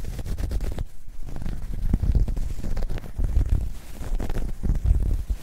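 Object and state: Knitted fabric bag being scratched.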